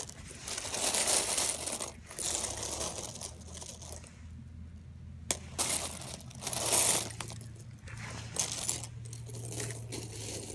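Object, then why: Small plastic and metal sewing buttons in a loose pile. Fingertips sift and stir a large loose pile of small, solid, mixed plastic and metal sewing buttons, making them clatter together. The bright, dense rattling comes in uneven bursts, with a quieter pause midway and a faint steady low hum underneath.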